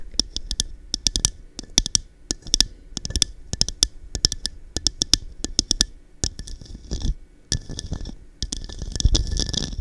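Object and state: Cut-glass cup tapped with fingernails.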